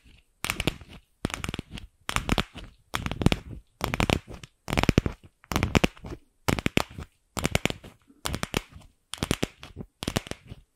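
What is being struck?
Plastic ball.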